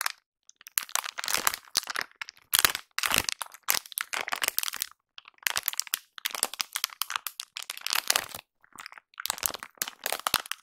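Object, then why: Soft plastic wet wipes pack. A large, soft, blue Plenitud plastic wet wipes pack, seemingly full, is held in both hands with long nails close to the recorder and squeezed and crinkled. Bursts of bright, dry crackling and crinkling come in quick clusters separated by brief silences, with almost no low end.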